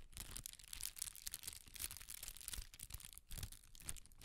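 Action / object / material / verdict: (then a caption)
shake / sheet of tissue paper / paper / none. A large sheet of red tissue paper, held by its corners, is waved and crinkled, producing dense, bright crackling and rustling. The sound comes in quick, overlapping swells with a soft low rumble beneath, and each crinkle stops almost instantly with no ring.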